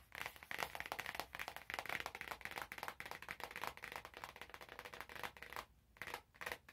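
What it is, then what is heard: Cellophane-wrapped cardboard box. An orange cardboard box wrapped in cellophane plastic is held in both hands while fingers scratch and crinkle the wrap over the cardboard. The result is a dense run of bright, crackly, papery scratching bursts that continue almost without break, briefly dropping near silence twice toward the end.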